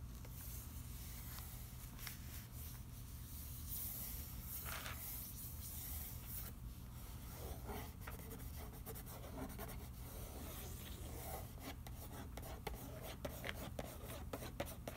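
Fingertips trace and rub over the front of a closed, hollow, flat printed cardboard macaroni and cheese box lying on newspaper. The result is a quiet, soft, papery scratching and rubbing over a steady low hum, with brief bright scrapes and light ticks growing more frequent toward the end.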